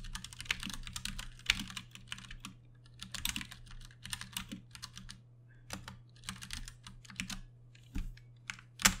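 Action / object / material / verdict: tap / plastic mechanical keyboard / plastic / none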